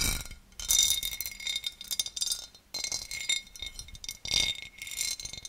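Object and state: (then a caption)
Cut glass serving dish. A large, empty oval serving dish of clear cut glass, held above the mic, is tapped and scratched with the long dark-painted nails of both hands. Bright, clinking taps ring briefly over a steady high tone and come in dense bursts separated by short gaps. Between the bursts, softer scratching rasps along the cut pattern.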